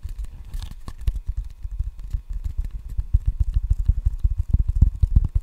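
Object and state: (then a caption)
Rubber-faced wooden ping pong paddle. Fingertips tap rapidly on the red rubber face of a solid wooden ping pong paddle held close in front of the microphone. The result is a dense, uneven patter of soft, deep thuds with almost no ring, growing slightly louder and more distinct toward the end.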